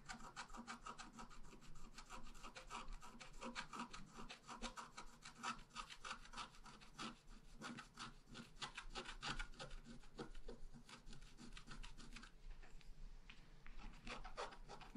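A wooden stylus scratches lines into the black coating of a thin scratch art paper sheet lying flat. Fast, dense, rasping strokes repeat throughout, with a bright papery edge and a brief quieter stretch near the end.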